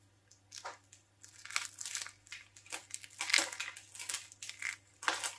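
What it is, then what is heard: Dry soap being scratched and crumbled. Fingertips with long painted nails scratch, tear and crumble the orange soap strands and edge of a hand-sized solid bar of dry soap carved as a skull and held in the hands, letting shavings fall onto the table. Irregular bursts of dry, bright crunching and crumbling come and go over a faint steady low hum.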